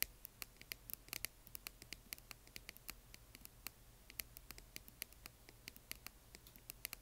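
Long nails tap and scratch the outer walls of a small, hollow, yellow glittery translucent plastic box partly filled with plastic bingo chips. The result is a quiet, rapid series of sharp, bright clicks and scratches with no ring, over a faint low hum.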